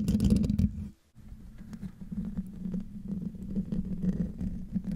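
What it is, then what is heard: Metal microphone grille being scratched. Fingertips and nails of both hands scratch the hollow metal mesh grille of a silver microphone, recorded in a different room. The result is a dense, low, rumbly scratching centered around 200 Hz, with a brief drop to near silence just after the first second before the steady scraping resumes.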